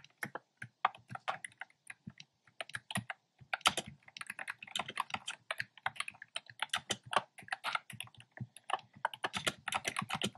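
Fingertips type steadily on a black plastic keyboard with hollow, round, retro pastel keycaps. A quick, uneven run of bright, hollow plastic clacks follows with short pauses, each keystroke dying away almost at once.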